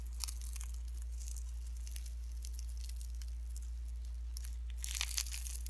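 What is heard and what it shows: Pink slime mixed with shredded cellophane is squeezed and pinched with fingertips and nails, giving a steady stream of dense, bright crinkling and crackling over a low, constant hum. The crackle thickens into a louder burst near the end.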